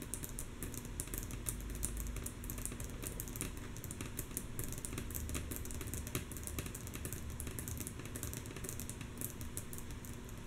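Long natural nails of both hands tap rhythmically on a flat, solid, light wooden tabletop. The result is a steady stream of quick, mostly soft, bright clicks over a low, constant rumble, with no pauses.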